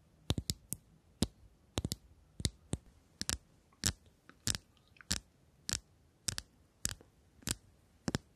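A shiny, hollow metal cylindrical tube case is held in both hands and tapped with long acrylic nails. About 20 sharp, dry clicking taps land at an irregular pace, each short and bright with almost no ring, over a quiet background.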